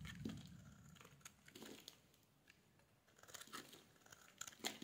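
A solid yellow bar of soap is scraped with a metal blade, peeling off thin shavings. Soft, dry crinkling and crisp scraping come in irregular bursts with a bright, papery edge and a faint low rumble, ending on a sharper scrape.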